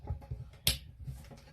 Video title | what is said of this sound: REFRIGERATOR NOT COOLING/ HOW TO REPLACE THE STARTER RELAY TO SAVE BUYING NEW FRIDGE : Obenskis Vlog | there is a clicking sound when you shake it, there's a problem